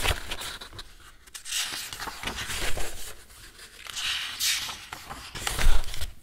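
Both hands bend and leaf through thick white A4 paper sheets held in a metal two-ring binder, rubbing the paper as they go. The result is a run of soft, bright rustling and crinkling swishes with short scraping bursts and a faint low rumble underneath.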